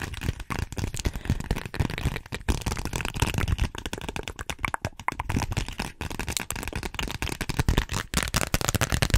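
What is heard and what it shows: A small, flat, pink glossy plastic (vinyl) zippered pouch with a flamingo print is tapped and scratched with long nails. Quick, dense crackling taps and scraping rustles run steadily through the clip, with a low thumpy body and a bright crinkly edge. Each tap dies away almost at once, leaving a busy, unbroken texture.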